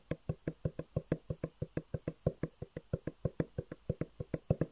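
Fingertips tap and knock on a long, hollow black cardboard box with white edges, held upright. About 29 quick, dull, low hollow knocks come at roughly three per second in a slightly uneven rhythm. Each knock dies away almost at once.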